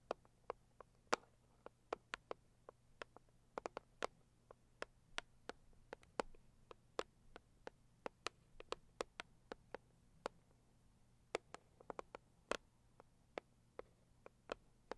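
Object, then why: Cardboard gift box. Long acrylic nails tap and scratch the lid of a medium, closed, hollow pink floral printed Saviland cardboard box lying on a fur mat. About 39 quiet, sharp, dry taps sound at an irregular pace, each with a bright click that dies away almost instantly. Soft scratching fills some of the gaps over a faint low hum.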